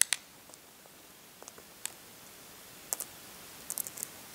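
Fingernails peel and scratch at the cracked shell still left on a brown hard-boiled egg whose shell has been partly removed. Sparse, sharp, bright clicks and tiny crackles snap out of a quiet background, each dying away almost instantly. Small clusters of crisp ticks arrive toward the end.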